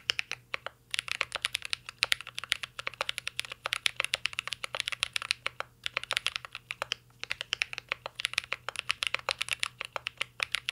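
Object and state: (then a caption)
Mechanical keyboard being typed on. Fingertips type continuously on a mint-green Cyberboard R3 mechanical keyboard with plastic keycaps and an aluminum case. The result is a rapid stream of short, crisp, bright clicks that end almost instantly, with brief pauses between bursts and a faint low hum beneath.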